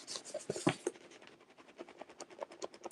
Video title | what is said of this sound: Functional Art Resin Raid Train Wrap Up | I hear a tiny little bit. I don't know if you guys can hear that. That tiny little bit of movement.